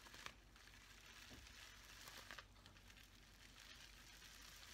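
A folded sheet of clear plastic bubble wrap is held in both hands while fingers squeeze and crinkle it. Quiet, bright crinkling and rustling runs throughout, with a few sharper crackles standing out.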